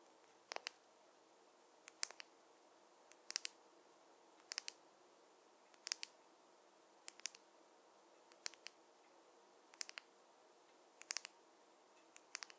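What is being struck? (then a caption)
Wooden fine-tooth comb. A wooden or bamboo fine-tooth comb is tapped in short bursts of two or three quick, dry clicks that repeat about every second and a half. The clicks are bright and sharp, die away almost instantly, and sit over a faint, steady background hiss.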